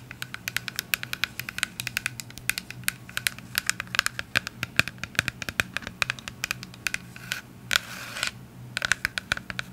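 Long acrylic nails rapidly tap and scratch a clear plastic cleanser bottle with a white pump, partly full of liquid, producing dozens of sharp, bright clicks that die away almost instantly. Near the end, a short burst of hissy scratching breaks in over a faint, steady low hum.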